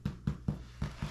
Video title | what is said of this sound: Fast Homemade Sub Rolls! | that Hollow sound tells you they're done